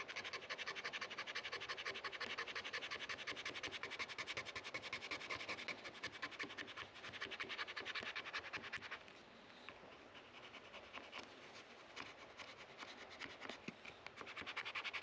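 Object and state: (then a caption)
Rosewood guitar fretboard being scraped. A white plastic card scraper held in the fingers is scraped along the solid dark rosewood fretboard of an electric guitar neck, which rests on a padded neck rest, working between the metal frets to clean off grime. The result is a steady run of rapid, bright, dry scratching strokes with little low end, easing into softer, sparser scrapes for a few seconds before picking back up.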